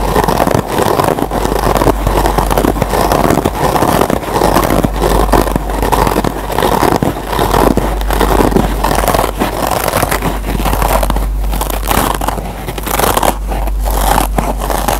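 Fingertips and short nails scratch the green nylon scour pad of a single solid Scotch-Brite kitchen sponge with yellow foam underneath. A dense, steady stream of rapid, dry rasping strokes runs throughout, with a low-to-mid body and a constant low hum beneath it.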